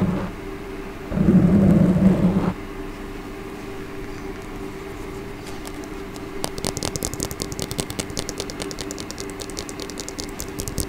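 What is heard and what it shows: A small, solid hot-pink plastic comb is held in one hand while long nails strum and scratch along its teeth. A brief low, droning burst comes early, then a quiet stretch, followed by a steady run of rapid, bright, crisp ticks as the nails flick across the teeth.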